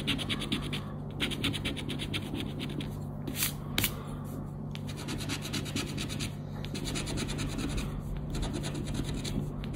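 A thin paper scratch card (Roda dos Prémios) lying on black cloth is scratched with a round black plastic scraper in quick, steady back-and-forth strokes. It makes a continuous dry, bright scraping texture with a low steady hum underneath, plus a couple of sharper bursts near the middle.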